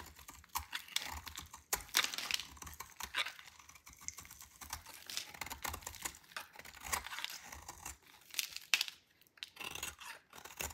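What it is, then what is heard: Dry soap bar being shaved. A solid, dry white bar of soap, held in the hand, is shaved with a metal utility knife blade. The result is a quiet, steady run of bright, crisp scraping and crunching strokes, each dry and short with almost no ring or low end.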